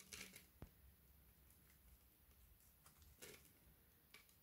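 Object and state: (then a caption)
Frozen soap bar scraped with a knife. A solid white frozen soap bar held in the hand is scraped and scratched repeatedly with a red-handled knife blade, chipping off crumbly shavings. Quiet, bright, gritty scrapes come in short bursts with brief ticks between them, over a faint low hum.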